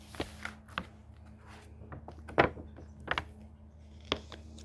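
Fingertips lift, bend and turn the paper pages of a thick hardcover book. Soft, bright papery rustles and quick flicks rise over a faint, steady low hum, with the sharpest snap of a page near the middle.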